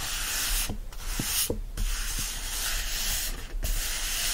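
Fingertips rub the open paper pages of a yellow paperback book, then scratch its card back cover. The result is a steady, dry, bright hiss of rubbing and scratching, broken by a few brief pauses between strokes.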